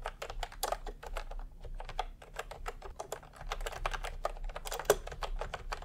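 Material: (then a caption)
Plastic. Fingertips type fast on a full-size plastic computer keyboard with round pastel typewriter-style keycaps and a hollow body, resting on a white cloth. A dense, quick stream of short, hollow clacks with a mid-range tone and bright edges dies away almost instantly, with a faint low hum underneath.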